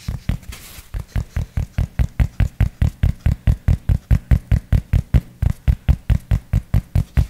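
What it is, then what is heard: Fabric baseball cap. Fingertips scratch and then tap the crown of a grey cloth baseball cap held against the mic. A brief scratchy rustle gives way to about 33 quick, dull, low thuds in a fairly steady rhythm. Each tap is muffled and dies away almost at once.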